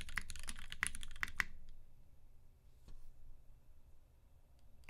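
A UTD 360C tenkeyless mechanical keyboard in a gummy-worm mount, with Vintage Black switches lubed with 205g0 and filmed, white PBT keycaps and a silver aluminum case, is typed on with two-handed fingertips. A quick run of short, sharp keystrokes with a bright clack fills the first second and a half, then fades to low rumbling quiet as one hand moves to the corner of the board, with a single faint tap near three seconds.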